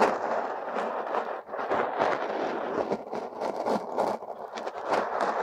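Two metal hook tools scrape and dig through a mound of purple, crumbly kinetic sand packed over a silicone nose, working at the nostrils. The result is a steady, gritty crackling and scraping in the midrange, with brief bright flicks of grains and no low end.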